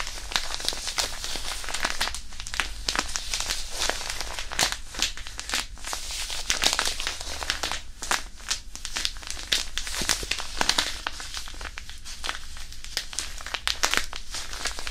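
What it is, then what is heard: Crumpled hand warmer wrapper. A small, white, crinkly hand warmer wrapper or packet, apparently thin plastic, hollow and flexible, is crumpled and squeezed in both hands with the fingertips held above the microphone. The result is dense, continuous bright crinkling and crackling, full of sharp short snaps that die away almost instantly, over a steady low rumble.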